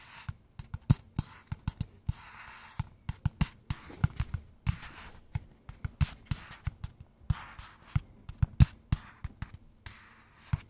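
A small, hollow, kraft-brown cardboard box is held in both hands and tapped rhythmically with fingertips and nails. About 37 short, dry hits sound as dull, low, hollow thumps around 105 Hz, some with crisp, bright nail clicks. Each dies away almost instantly, with soft rustly hiss in the gaps between taps.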